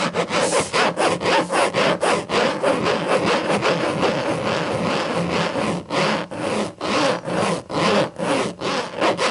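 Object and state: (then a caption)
Leatherette-covered hardcover book being scratched. Long acrylic nails scratch back and forth across the black textured leatherette cover of a closed thick hardcover book with a sticker on it. About two rasping strokes per second fill the clip with a dry, hissy scratch.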